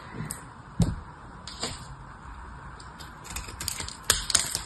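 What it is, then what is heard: Dried soap bar, dry and crumbly. A small blade carves into the end of an elongated, hand-sized bar of dried soap with a ribbed, blue-painted surface, and chips crumble off. Crisp, bright cracking and scraping sounds come in scattered bursts, growing busier toward the end, with a soft low rumble beneath.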